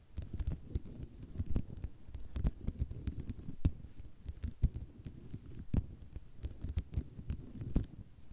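Fast tapping with long nails of both hands on a flat sheet of small white square ceramic mosaic tiles resting on cloth produces a busy, irregular stream of short, dry clicks and soft rattles. Scattered louder taps stand out over a low, muffled rumble, and the sound stays mostly dull with bright click edges.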